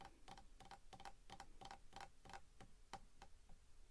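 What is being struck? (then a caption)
Wooden walking staff. Fingertips tap the shaft of a long, solid, dark wooden walking staff held upright in one hand. The result is a quiet run of quick, light, dry taps, often in close pairs, with a faint hollow tone near 785 Hz and almost no ring after each tap.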